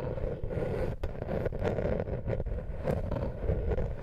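A small, flat, woven wooden lattice coaster is scratched with long nails close to the microphone. The result is a dense, continuous rasping scrape, heavy in the low end with a steady level and a few brief dips between strokes.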